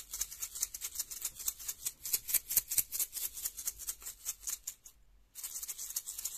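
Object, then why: Small plastic egg-shaped capsule with loose contents. A small hollow orange plastic egg-shaped capsule with a visible seam, likely a surprise-egg toy capsule probably holding loose contents, is held in the fingertips and shaken quickly. It gives a fast, bright, crisp rattle in quick uneven bursts. The rattling pauses briefly near the five-second mark, then resumes as a steadier, denser shake.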